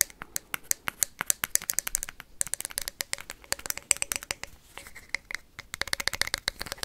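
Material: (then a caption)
Plastic. A hollow plastic ping pong ball is tapped and scratched quickly with paperclips. The result is a rapid, uneven run of sharp, bright clicks with almost no low end, each dying away instantly, with faint scratchy texture between them and a brief pause around the middle.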